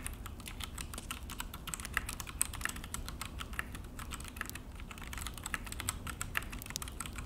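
Both hands type with their fingertips on a full-size Akko mechanical keyboard with an orange plastic case and black plastic HyperX keycaps, resting on a desk. A steady stream of rapid, bright, dry key clacks and taps plays over a low background rumble, each press dying away almost instantly.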